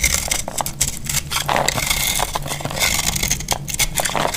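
A solid rectangular bar of dry green soap, held in the hand, is carved with a metal utility-knife blade into crunchy flakes. Dense, bright crackling scrapes and crunches run continuously, with a faint low hum underneath.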